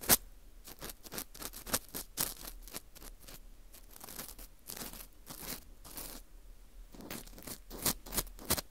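An orange plastic earpick scrapes inside the center hole of a dry, porous slice of dried wheat gluten fu ring. It makes quiet, bright, crackly scratching in short bursts, with a few louder rasps near the start and end.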